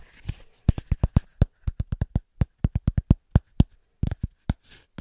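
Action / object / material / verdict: tap / small thick round cork coaster / cork / none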